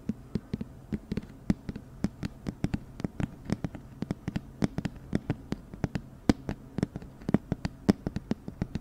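A medium-sized, hollow, apparently empty white cylindrical cardboard flower box with a "Tailored" label is held up in the hands and tapped with long nails and fingertips. The result is a quick, uneven series of dozens of short, dry, hollow taps with a low, boxy body. Each tap dies away almost instantly, and the nail strikes add sharp, bright clicks.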